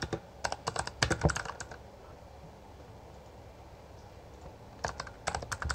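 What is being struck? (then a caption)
Plastic mechanical keyboard. Both hands type with their fingertips on a Bloody B820R full-size black plastic mechanical gaming keyboard with backlit keycaps and a hollow housing. Quick bursts of sharp, clacky keystrokes with a hollow low thud fill the first couple of seconds. After a quiet gap, the typing resumes near the end.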